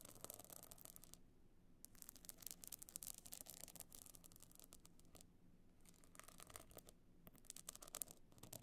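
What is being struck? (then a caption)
Box clutch covered in glued stone chips. Long dark nails scratch across a small rigid hollow box clutch covered in glued pebble and shell chips with a gold metal frame edge, lying on faux fur. Quiet, dense bursts of bright, gritty scraping come in clusters with brief pauses, over a low, steady rumble. Each scratch stops dead with no ringing.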